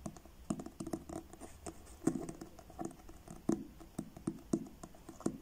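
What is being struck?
Paperback book with card cover.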